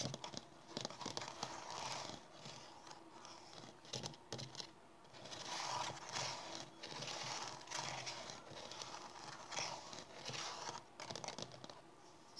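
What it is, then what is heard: Plastic bottle. A tall, hollow, ridged pink plastic bottle held up close is tapped and scratched with long dark-painted fingernails. Quick taps mix with bursts of bright, crinkly plastic scratching that swell and fade over the clip, leaving little low end.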